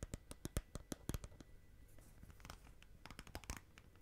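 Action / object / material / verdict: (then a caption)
scrape / clear plastic tub of slime / plastic / none. Long nails tap and scratch the outer side wall and rim of a small clear plastic tub filled with green slime. Quiet, sharp clicks and short bright scrapes come in quick, uneven bursts, with a soft, dense scratching stretch in the middle, and each tap dies away almost at once.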